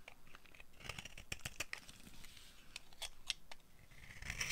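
A solid, dry purple soap bar held in the hand is shaved and carved with a metal blade that has a yellow handle. The result is a run of dry, crisp scraping and crunchy cutting strokes, bright and close, that end in a longer, louder scrape.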